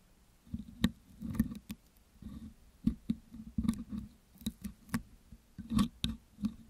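A metal pick hook scratches and picks along the hollow metal wire-mesh grille of a Blue Yeti microphone coated with green putty. The result is a series of short, dry clicks and scrapes with a low, hollow body around 230 Hz and brief bright ticks. It sounds close and quiet.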